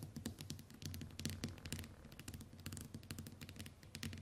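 Long white nails tap and click rapidly on the glass screen of a small flat smartphone lying on a wooden table. A steady stream of short, bright clicks sits over a low, constant hum, with each tap dying away almost instantly.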